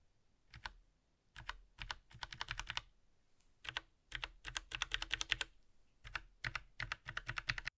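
Fingertips in purple nitrile gloves rapidly press and tap the hollow plastic keycaps of a compact Logitech mechanical mini keyboard with a metal top plate, lying flat on a grey surface. Quick bursts of bright, crisp clacks stop dead and are separated by short pauses.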